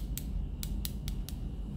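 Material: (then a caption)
Acrylic. Freshly applied acrylic nails from a Kiss at-home acrylic nail kit are tapped together five times, making short, sharp clicks over a low background rumble. The audible tapping shows the acrylic has set hard and is ready to be filed.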